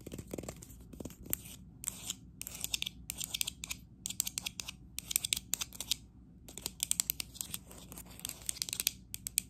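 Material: Ceramic.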